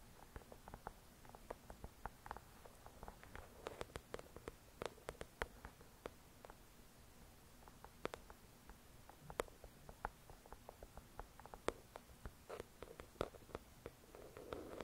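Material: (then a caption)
Paper. Long acrylic nails tap on the glossy cover of a thick paperback novel resting on a white cloth. Quick, soft, dry clicks come in an irregular stream, some louder than others, with a faint scratchy rustle between them over quiet background.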